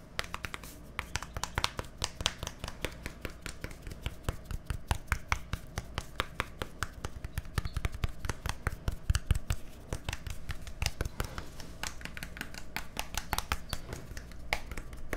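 A small, hollow white plastic deodorant stick with a green cap is held close to a microphone and tapped and scratched with fingertips and nails. Many rapid, sharp clicks and hollow taps come in dense bursts over light scratching, with a steady low hum underneath.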